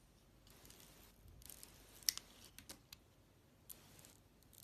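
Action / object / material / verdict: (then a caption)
scrape / bar of soap cut with a knife blade / soap / none. A utility-knife blade cuts slices off a solid, glossy, oval orange bar soap with purple stripes and a white core. Soft, bright scraping and crisp cutting sounds are broken by several sharp, high clicks that die away at once. The sound is quiet and almost all treble, with little low end.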